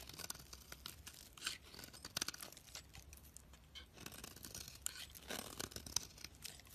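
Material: Soap.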